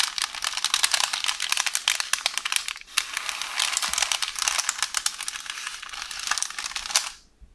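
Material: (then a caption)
Paper. Long orange nails tap, scratch and rub a hollow roll of beige baking paper resting on a counter. A dense, bright crinkling rustle is studded with rapid clicking taps, dipping briefly just before the 3-second mark. The sound then cuts off to near silence at about 7 seconds.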